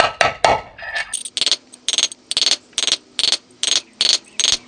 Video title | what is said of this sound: Quad Getriebe macht Geräusche, Getriebe überholen, Kugellager wechseln | hört man, dass er am Anschlag ist. Das hört man einfach an diesem blechernen Geräusch. Es verändert sich